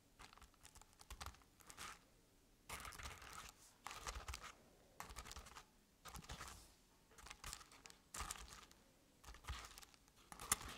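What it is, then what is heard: Crepe-paper-covered decorative pumpkin. Long red nails scratch the crinkled orange crepe paper covering a medium-sized round decorative jack-o'-lantern with black paper face cut-outs, while hands grip its sides. The sound comes in short bursts of dry, bright, papery scratching and crinkling, separated by quiet pauses. The last burst ends in a sharper crackle.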